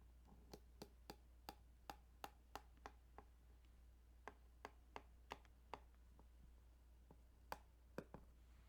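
Fingers tap and scratch on the ridges of a plastic Game Boy Tetris cartridge, producing about nineteen short, dry, bright clicks in two uneven clusters with a brief gap between them. The clicks die away almost instantly over a quiet, steady low hum.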